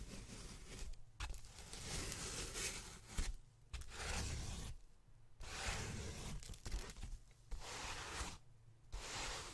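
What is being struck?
Polyethylene foam packaging sheet.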